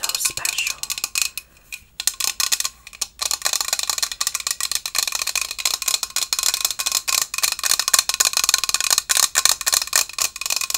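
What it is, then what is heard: Stainless steel tumbler. Long acrylic nails tap and scratch the painted steel body of a hollow stainless steel Starbucks Japan travel tumbler, white with Mt. Fuji and cherry blossoms, a pink lid and a steel base. The result is a dense, rapid stream of bright, sharp clicks and scratchy taps with almost no low end and very little ring, pausing briefly around two and three seconds.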